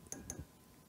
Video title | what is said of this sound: Ampli Nico dernière partie | EL34 sont très microphoniques je sais pas si vous entendez mais quand on tape dessus